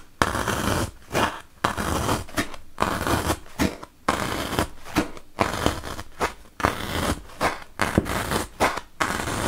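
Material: Melamine foam.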